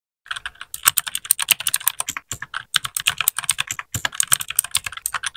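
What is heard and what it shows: A small white 60% mechanical keyboard with plastic keycaps and RGB backlight is typed on with the fingertips of both hands in continuous keypresses. Dozens of rapid, crisp plastic clacks are heard, bright with very little low end, each dying away almost instantly.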